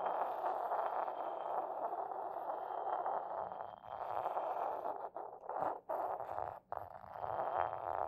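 A porcelain pestle rubs in circles on the base of an inverted, hollow, white decorated porcelain mortar while the other hand steadies the bowl. The result is a steady, gritty scraping hum centered in the midrange, with a few brief pauses in the second half as the strokes shift.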